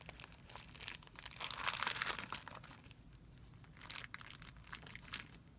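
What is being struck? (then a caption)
Thin clear plastic film bag. Fingertips crumple and rub a thin, clear plastic film bag resting on a white surface, making a bright, dense crinkling crackle. The crackle swells to its loudest in the first half, quiets, then returns in a few sharper bursts toward the end, over a faint low hum.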